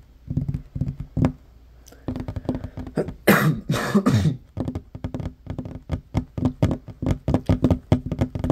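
Fingertips and short fingernails of both hands tap quickly on a large, solid, worn wooden tabletop. The result is a fast run of dull, low knocks that die away almost instantly, broken in the middle by a few louder, noisier bursts.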